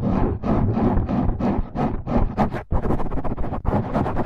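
Fingertips and short nails of both hands scratch and rub the sides and top of a dark, rounded, hand-sized foam windscreen over a microphone. The result is a close, continuous run of loud, rough scratching strokes with a heavy low-end rumble. Brief dips in level mark the changes between strokes.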